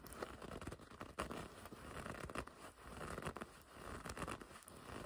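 Long red nails scratch and pinch the front of a black and red leather racing jacket. The result is a quiet, continuous run of scratchy, crinkling rubs and grips with uneven, irregular swells.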